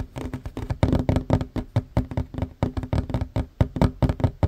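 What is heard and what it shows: Hands fast-tap a flat, solid wooden tabletop with short fingernails, making a rapid, uneven run of about two dozen taps in 4.5 seconds. Each tap is a short, dull, low knock with almost no ring. Together they form a quick, drumming patter.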